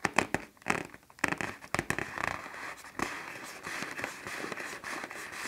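Fingertips and nails tap and scratch the stretched film of a large black plastic trash bag inflated with air into a taut, hollow shape. Sharp, crackling pops come first, then give way to a steady, crinkly scratching with a bright, papery edge and little low end.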